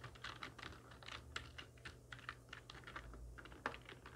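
Long nails and fingertips of both hands type steadily on a full-size black plastic computer keyboard with hollow keys, resting on a wooden desk. The taps are quick, hollow, bright plastic clicks over a faint low hum, with one sharper, louder clack near the end.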